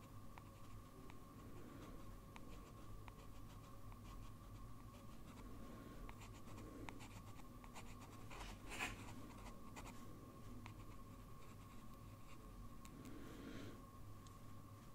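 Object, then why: Sheet of drawing paper under a metal pen nib. A blue fountain pen with a metal nib, held in a steady hand, scratches slow lines across a large flat sheet of white drawing paper. Quiet, dry scratching strokes come and go over a steady low hum and a faint constant tone, with one slightly sharper scratch near the middle.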